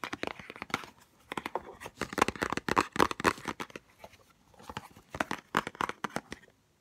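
Long nails tap fast and scratch on a small white Chanel No5 cardboard perfume box held close up. It makes dry, crisp clicks and papery rasps in quick bursts with short pauses, then falls silent at the end.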